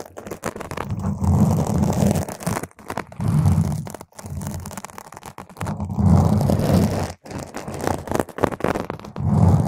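Long nail tips scratch across a round purple foam microphone windscreen, producing close, muffled rumbling scrapes heavy in low frequencies. The scratching comes in dense, continuous bursts separated by brief silent pauses.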